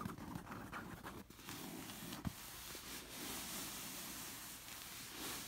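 Long nails rub and scratch across a soft cushion with a textured red and black knit fabric cover. A steady, bright, scratchy hiss runs throughout, broken by a few soft taps, with one sharper tap near the middle.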